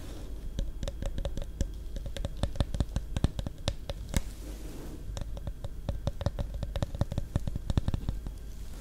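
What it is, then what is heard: Plastic coffee bottle tapped with nails. Long nails tap rapidly on the cap, label and bottom of a small, likely full Caffè Latte plastic iced coffee bottle with a blue cap, held close to the mic. The result is a steady stream of short, dry clicks over a low rumble, with a brief lull just past the midpoint before the tapping resumes.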